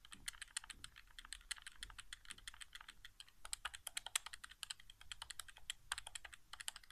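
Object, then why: Plastic game controller. Fingertips tap rapidly on the buttons of a hollow white plastic PS4 game controller resting on carpet. The sound is a fast, uneven stream of short, dry, bright plastic clicks with almost no ring, some taps sharper and louder than others, over a faint low rumble.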